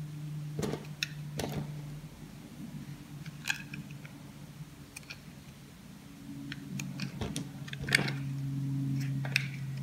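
A small knife shaves thin slices and chunks off a solid cream-beige bar of soap held in the palm. Short, crisp crunching cuts with bright edges come at an irregular pace over a steady low hum.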